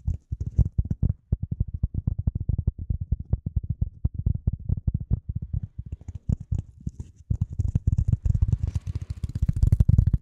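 A piece of polyethylene foam is tapped and handled in quick, uneven bursts, making dense, dull, low thumps that stop almost instantly. From about seven seconds the tapping grows louder and busier, with a faint, bright crinkling rustle over it.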